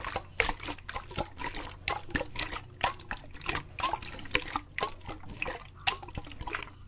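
A clear plastic water bottle, partly filled with water, is held in both hands and shaken vigorously, with the water foaming inside. Quick, bright sloshing bursts and splashes repeat in an uneven rhythm, each dying away almost at once, over a faint steady low hum.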